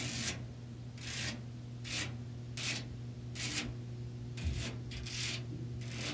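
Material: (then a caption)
Metal. Long nails scratch and rub across a white perforated expanded metal mesh panel set in a frame. Repeated bright, raspy strokes sweep back and forth at an uneven pace, over a steady low hum.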